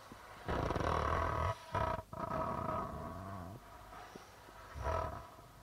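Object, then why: Darbuka drum with plastic head. A hollow darbuka drum with a white plastic membrane is rubbed and tapped with fingertips on the drumhead. This produces low, boomy, resonant swells and scrapes that ring with a hollow tone, separated by quieter soft taps and a short dip in the middle.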